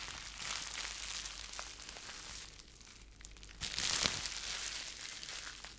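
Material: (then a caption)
Plastic. A small wad of clear plastic bubble wrap is held in both hands in front of a microphone while fingertips crumple, squeeze and pop the bubbles. The result is a steady, bright crinkling hiss with sharp little snaps, swelling into a louder burst of crackling and a distinct pop past the midpoint before settling back to soft crinkles.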